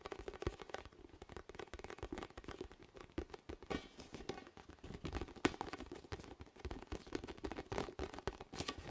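A large, hollow, inflated orange plastic/vinyl ball with soft spikes is held near the mic and tapped and scratched with fingertips and nails. Quick, dense taps and scratchy rustles run throughout, with soft hollow low-mid thumps that die away almost instantly. One sharper, brighter tap stands out midway.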